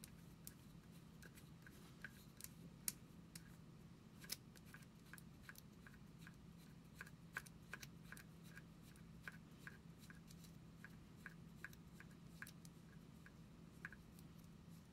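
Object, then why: Plastic deodorant stick. Long acrylic nails tap and scratch the surface of a small cylindrical plastic deodorant stick with a white cap, held in both hands. A quick, irregular series of sharp, bright clicks, each fading almost at once, sits over a quiet, steady low hum.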